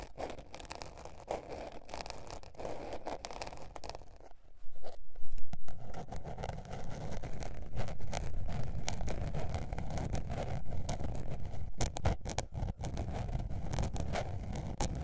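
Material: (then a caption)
Paper. Long painted nails scratch a small blue patterned spiral-bound paper notebook with a paper cover, tilted up and held. The result is a steady, irregular scratching and rustling with a dull, low-heavy texture, growing louder and fuller after about four and a half seconds and staying busy to the end.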